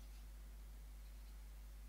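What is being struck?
Nothing is struck.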